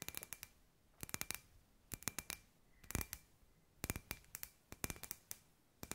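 Long white nails tap and scratch a palm-sized hollow clear glass sphere with fairy lights inside, held in both hands. Quick, bright clicking taps arrive in small clusters about once a second, each with a faint glassy ring near 2.5 kHz that dies almost at once. A short scratch sounds around the middle, all at a quiet, close level.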